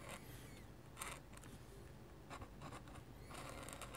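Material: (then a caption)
Paper. A metal-nib dip pen scratches hatching lines across a sheet of flat white drawing paper. Short bursts of bright, dry scratching come in quick strokes over a quiet, low background hum, with a denser run of strokes near the end.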